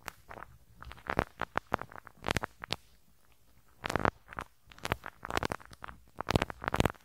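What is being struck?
Metal mesh microphone grille brushed with a rubber-bristle brush.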